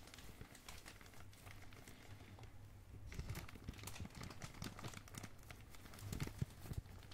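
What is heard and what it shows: A medium glossy black, blue and red plastic packaging bag is squeezed and crinkled by thumbs and fingers. The result is a quiet, continuous run of soft crackles and crinkles over a low, muffled rumble, growing busier and louder in the second half.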